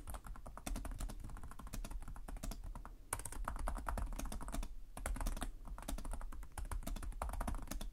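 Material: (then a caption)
Plastic. Fingertips type steadily on the plastic keys of a black laptop keyboard, producing a fast run of light, dry clicks and taps with a low thump beneath each one. The typing pauses briefly around the three- and five-second marks, then resumes at the same quick pace.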